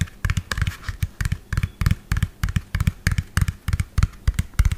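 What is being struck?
Plastic toy dump truck.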